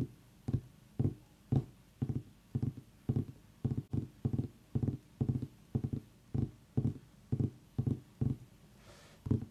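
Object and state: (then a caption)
Pumpkin tapped. Fingers tap on a pumpkin in a steady, unhurried rhythm, producing dull, hollow, low thuds. Each tap is short and dies away almost at once, with a quiet pause between taps.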